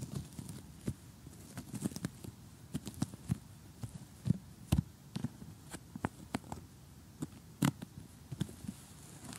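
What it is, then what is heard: Cardboard jigsaw puzzle. Fingers with short painted nails tap and scratch across an assembled cardboard jigsaw puzzle on a table. The result is a quiet, dry patter of short, low thuds with bright scratchy clicks and no ring. The taps are spread irregularly over the clip, with a few louder knocks.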